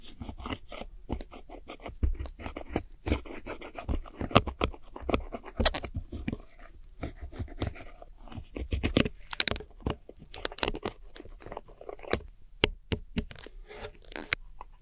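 A metal hook tool scrapes and crunches through crumbled pressed powder eyeshadow pans in a small black plastic palette. A rapid, uneven series of short, dry crunches and gritty scrapes follows, each dying away at once, with dull low thumps beneath and bright, sharp crackle on top.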